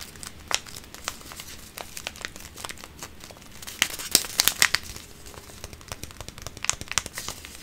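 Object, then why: Paper tea bag sachet. A small, flat paper tea bag sachet with a printed wrapper is held in both hands by fingertips with pink-painted nails and crinkled and rubbed between the fingers. The result is a run of dry, bright crinkles and crackles, with a denser cluster of sharper snaps in the middle.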